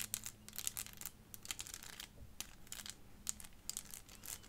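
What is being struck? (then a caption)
Small clear plastic elephant puzzle. Long fingernails tap the body of a small, clear, hollow plastic 3D crystal elephant puzzle in a quick, irregular series. Each tap is a sharp, bright click that dies away almost at once. A faint low hum sits underneath.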